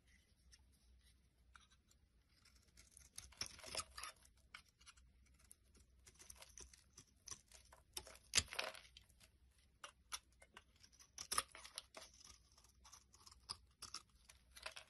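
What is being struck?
Bar of soap shaved with a blade.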